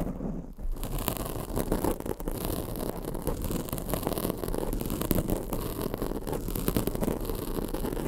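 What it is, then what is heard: Foam microphone windscreen being scratched. Long acrylic nails scratch across a black foam microphone windscreen. The result is a dense, continuous, muffled scraping rustle, heavy in the lows with little brightness, holding steady for about eight seconds after a brief dip near the start.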